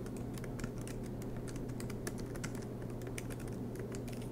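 Fingertips of both hands type continuously on a silver MacBook Pro, tapping its black plastic low-profile keys set in an aluminum chassis. Quick, light, bright clicks patter in an uneven stream over a steady low hum.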